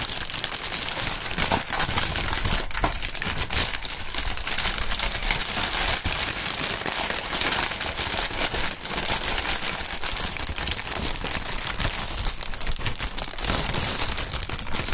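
Gloved hands lift, shake and crumple clear printed plastic air-pillow packaging film, hollow and air-filled, then press it on the mat. The result is a steady, dense crinkling and crackling with bright, hissy texture and a low thumpy undertone, running continuously without clear pauses.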